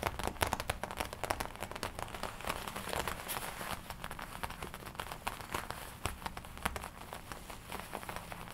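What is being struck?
Leather jacket.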